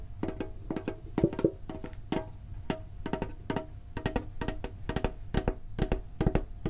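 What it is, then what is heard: Metal card tin tapped. A green printed hollow metal Pokémon card tin is held and tapped on its lid and sides with the fingertips and short nails. The result is a steady run of quick, dry, hollow clicks and taps with a light metallic ring that fades almost at once.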